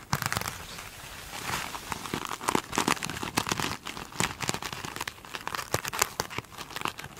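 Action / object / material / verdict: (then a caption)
scrape / foam sponge with a glittery scrubby top / foam / none. Long pointed acrylic nails scratch and tap across a small rectangular foam sponge with a glittery scrubby top, lying on a table. Dense, crinkly scratching is broken by many sharp, bright taps and crackles. The sounds are dry, with no ring after each hit.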